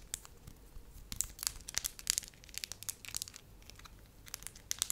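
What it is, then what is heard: Soft wax sheet. A thin, pale-yellow sheet of soft wax is held up in both hands while fingertips and long nails press, crinkle and tap it. The result is a quiet run of bright, crackly crinkles with sharp, short clicks scattered through, and there is almost no low end.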